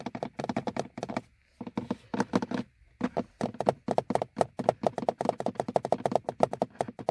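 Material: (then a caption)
Plastic. Fingernails of both hands tap and scratch the front face and top edge of a car's hollow, molded plastic instrument cluster hood. Quick runs of dry, hollow clicks with a mid-range knock die away almost instantly, broken by two brief pauses before the tapping speeds up into a steady patter.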